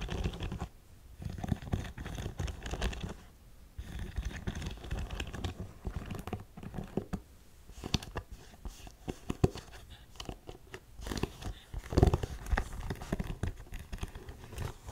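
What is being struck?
Suede ankle boot with metal studs.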